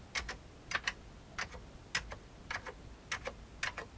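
Fingertips tap the keys at the right side of an old beige full-size plastic computer keyboard with hollow keycaps. The crisp, bright key clicks come in quick pairs at a slow, uneven pace, each dying away almost at once against a faint low hum.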